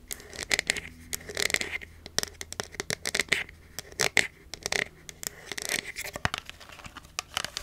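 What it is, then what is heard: Nearly empty plastic bottle. Long nails tap and scratch the sides of a hollow, nearly empty clear plastic cosmetic bottle with a black cap. Quick, bright clicks mix with dry, hissy scratching bursts at an irregular rhythm, each sound stopping dead with no ring.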